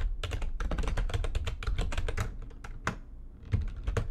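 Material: Plastic.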